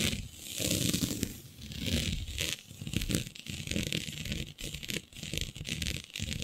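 Long nails scratch a flat sheet of black synthetic stretch fabric with a shiny dotted pattern. Continuous rasping, crinkly scratching swells and fades, pairing a bright hiss with a soft low rumble.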